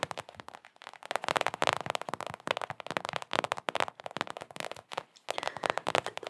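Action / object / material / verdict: tap / small hollow rubber ball / rubber / none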